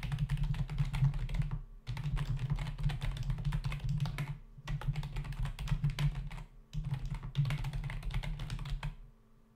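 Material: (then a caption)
Plastic. Fingertips of both hands type fast on a full-size black plastic membrane computer keyboard with hollow keys, resting on a desk. Rapid clicky key taps come in four bursts separated by brief pauses, over a steady low hum, and the last burst fades out at the end.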